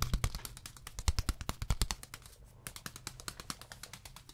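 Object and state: Beeswax food wrap.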